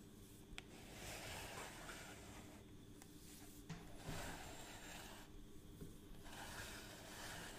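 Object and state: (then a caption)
Plastic measuring tape reel. Fingertips and nails rub and scratch the face and rim of a hollow, palm-sized, round cream plastic reel case of a long measuring tape with a black crank handle, held in one hand. A steady, soft scratchy rasping continues throughout, broken by a few brief sharp taps and clicks.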